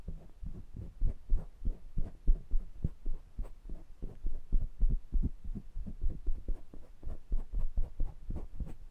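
Fingertips tap and rub the wire-mesh grille faces and rims of a small pair of metal condenser microphones. The result is a quick, uneven stream of soft, deep thumps with a low throbbing hum and faint brighter scratchy ticks, each hit dying away almost instantly.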